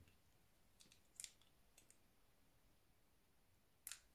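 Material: Soap.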